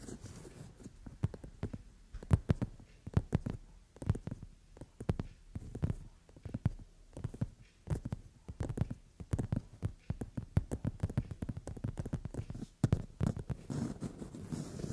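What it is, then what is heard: Leather sofa seat. Long nails rapidly tap and scratch on a brown leather padded sofa seat, with the fingers held fairly flat. The result is a stream of soft, dull, low thumps in uneven bursts, with faint scratchy brushing between them and almost no bright content.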